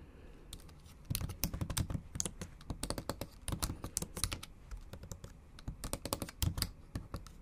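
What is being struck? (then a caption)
Plastic laptop keyboard keys. Long acrylic nail tips and fingertips type on the backlit black plastic keys of a MacBook Pro with a silver aluminium body. After a quiet first second, a steady run of quick, dry taps follows in uneven bursts. Each tap has a soft low thump and a bright click that dies away almost at once.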